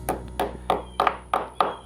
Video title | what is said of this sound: Cape Dory 25D Exterior Refit Part 6 | once it gets in you just tap it down till you hear that sound and then you've seated